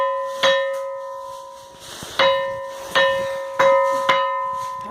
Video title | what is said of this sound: A Pedra que faz som de sino na Bahia, | batendo aqui na pedra faz barulho [Música] decino